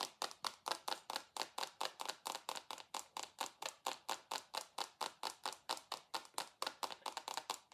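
A rectangular dark glass perfume bottle with a gold base, held in both hands, is tapped quickly with long acrylic nails. About 38 sharp, clicky taps come in a fast, slightly uneven rhythm, each with a bright glassy tick around 890 Hz that dies almost instantly.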